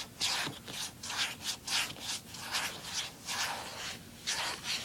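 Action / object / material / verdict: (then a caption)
scrape / plastic handheld game console lid / plastic / none. Fingers rub back and forth across the lid of a closed, small, hollow blue plastic handheld game console. The result is a series of dry, hissy scraping strokes, bright and mostly high in pitch with little low end, coming in uneven bursts.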